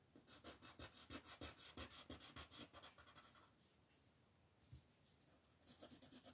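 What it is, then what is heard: Colored pencil shading on paper. A green colored pencil with a wooden body and wax-based lead is rubbed back and forth in fast shading strokes across a large, thin sheet of paper printed with an ornate letter M, lying flat on a dark wooden table while the other hand steadies the sheet. Quick, bright, scratchy rasps repeat about three times a second, then stop for a quieter stretch of faint rubbing midway before the rapid shading strokes resume at the end.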